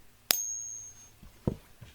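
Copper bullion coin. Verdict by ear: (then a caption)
Fake. A counterfeit copper bullion coin, sold as a silver coin, is given a ping test beside a plain copper round for comparison. A sharp strike produces a thin, high ring that fades within about a second, followed by a few dull, low knocks. This is the fake's third ping test, and its tone is judged wrong for a genuine coin.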